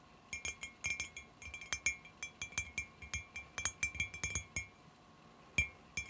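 Long fingernails tap and click along the top of a long, clear glass bottle or tube lying on its side on carpet; it is empty except for a small decoration inside near one end. The taps come in a quick, uneven stream of bright, glassy clinks with a high ringing tone near 2.4 kHz. Each clink fades almost at once.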